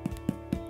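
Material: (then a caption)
Bread. A golden-brown sourdough loaf, baked for 45 minutes and turned over, is tapped on its bottom crust, giving short, dull, low thumps that sound hollow over faint steady background music. The hollow sound shows the loaf is perfectly cooked.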